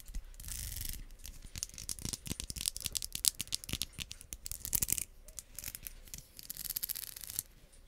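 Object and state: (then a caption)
Plastic wide-tooth comb. Long nails scratch and strum the teeth of a pink solid plastic wide-tooth comb held close above the mic. The result is a dense run of quick, dry clicks and bright, scratchy rasps, with brief pauses between bursts.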